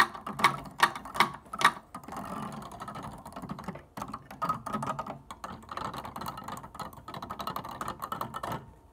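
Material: Plastic.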